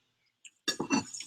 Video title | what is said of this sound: Chef AJ's Favorite Recipes to Keep You Thin! | Can you hear how crispy these are?